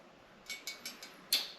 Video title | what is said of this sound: Removing A Stuck Seatpost From A Vintage Serotta Frame! | it changed pitch when I hit it there, and it did jump up some